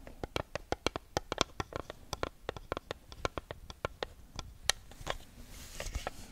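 A small neon-yellow block of paper sticky notes, a solid stack held near the mic, has its sheets flipped and scratched by long acrylic nails. A quick run of dry, crisp paper taps and flicks sounds with bright edges and almost no ring. Softer rustling scratches follow near the end.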